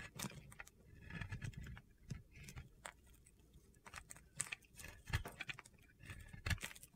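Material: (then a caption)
Soap. A metal blade scrapes gritty shavings from a solid white Oscar de la Renta bar soap held in red-nailed fingers. Quiet, irregular crunchy scrapes and short bright crackles come in uneven bursts over a low, muffled rumble.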